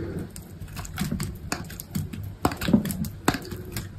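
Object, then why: Bar of soap cut with a knife blade. A utility knife blade carves thin, curled shavings from a solid, hand-sized, cream-white soap bar. The result is a steady run of soft, dry scraping cuts with short, crisp clicks and low, muffled thuds. A few sharper strokes stand out near the end.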